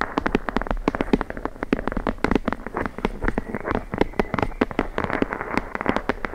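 Long blue nails rapidly tap and scratch the page edges of a thick, closed red hardcover book, a solid block of paper held edge-on above the microphone. The result is a fast, uneven run of short, dry clicks and papery scratches that stay fairly dull and mid-toned, with little brightness and almost no ring after each tap.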